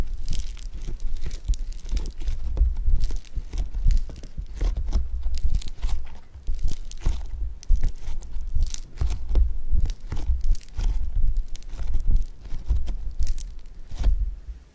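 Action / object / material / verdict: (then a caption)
scrape / lump of foam bead clay / foam beads / none. A lump of blue foam bead clay (floam) is squeezed into a ball with fingers and thumbs, producing a dense, continuous stream of crunchy crackles and pops. The crackles are short and dry with strong low-end thumps and bright snaps, rising and falling in loudness throughout.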